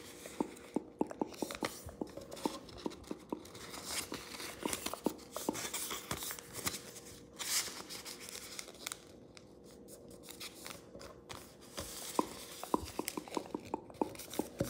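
A thin, square, light blue origami paper sheet lies flat on a wooden table and is folded and creased with fingertips and thumbnails pressing and rubbing along the crease. Soft papery rustles and crinkles mix with many quick, sharp ticks and scrapes, with brighter bursts of crisp friction now and then.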